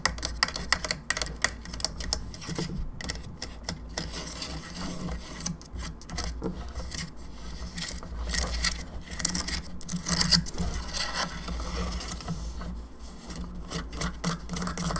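Long fingernails tap the face, jaw and top of a hollow plastic skull candelabra lamp, giving rapid, dry, bright clicks that die away almost instantly. A steady low hum runs underneath throughout.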